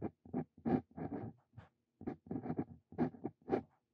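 A steel-nibbed Brause Cito Fein dip pen scratches across a lined paper sheet while writing text. About a dozen short, dry scratching strokes are heard in quick bursts with brief pauses between them, their sound mostly in the low and middle range.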